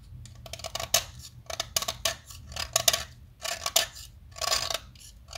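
A small, solid, light-green blackboard chalk stick held in the fingers is carved with a metal box-cutter blade, giving irregular bursts of dry, bright scraping and cutting. Each stroke is short and crisp, with no ringing, over a faint low background hum.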